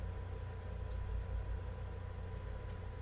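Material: Nothing is struck.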